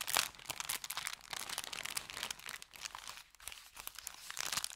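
An empty brown kraft paper bakery bag is scrunched in the hand, then opened and crinkled. The result is a dense run of quiet, bright, crackling crinkles and crunches with almost no low end. Each snap dies away almost instantly.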